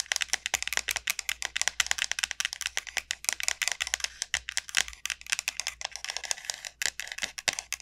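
Long nails tap quickly on the hard shell of a large, hollow dried gourd. They make a rapid, uneven stream of sharp, dry clicks that are bright and high with almost no low end. Each tap dies away almost instantly, with no ringing.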